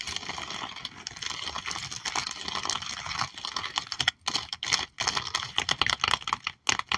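Both hands tap rapidly with long acrylic nails on a sticker album page of cat stickers under a clear plastic sleeve. The result is a dense stream of crisp, bright clicks with almost no low end, broken by brief pauses after about four seconds.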